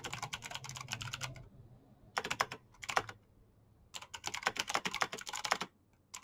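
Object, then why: Plastic mechanical keyboard with clicky switches. Fingertips and short nails type fast on a black plastic mechanical keyboard with clicky green switches. Quick bursts of sharp, bright clicks are broken by short pauses, and the keystrokes die away almost instantly.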